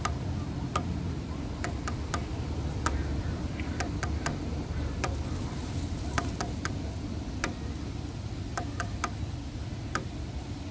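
Fingertips and nail tips tap lightly on one slat of a grey, weathered, solid wooden bench, making short, crisp clicks at an irregular pace. Each tick dies away almost at once over a steady low rumble that fills the background.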